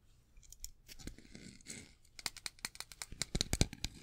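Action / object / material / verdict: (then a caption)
scrape / metal folding pocket knife / metal / none. Fingertips and nails handle a small metal folding pocket knife with a metal blade and a dark handle, held in both hands, opening the blade and scraping along it. Soft, faint scraping and rustling open the clip, then give way to a quick series of crisp, bright clicks and taps that stop short with almost no ring.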